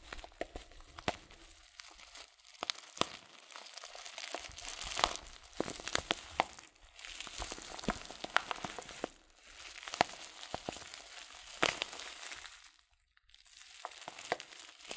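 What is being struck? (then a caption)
Filled coated paper tea packet. Fingertips slowly squeeze and crinkle a filled, hand-sized Sir Winston Tea packet, a yellow glossy coated-paper tea bag of loose-leaf tea. Dry, bright crackles and sharp crinkles come in bursts, with almost no low end and short quiet gaps between handlings.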